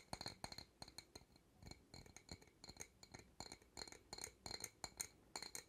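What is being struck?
Glass jar.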